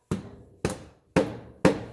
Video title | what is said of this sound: 2016 Subaru Impreza - Front Left CV Shaft Replacement - Front & Rear Differential Service | you can hear the difference in sound there